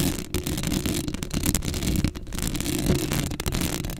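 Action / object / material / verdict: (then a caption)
scrape / metal mesh microphone grille / metal mesh / none. Long acrylic nails scratch across a black metal mesh microphone head, close up. The result is a dense, continuous rasping scrape, heavy in low rumble with a bright gritty edge, broken by a few brief dips.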